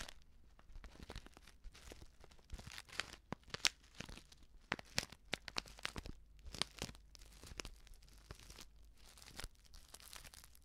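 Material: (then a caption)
Plastic film. A flat, sealed plastic instant soup sachet filled with dry contents is crinkled and scratched with long nails. Quiet, bright crinkling and tearing-like rustles are broken by sharp, scratchy clicks that die away at once, coming in irregular bursts throughout.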